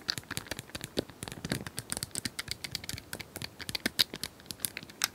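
Long nails tap rapidly on a small hand-held plastic cylindrical puzzle toy with colored square tiles, likely hollow, held in both hands. Dozens of quick, dry, bright clicks and ticks come in an uneven stream, each dying away almost instantly. The overall level stays quiet and light.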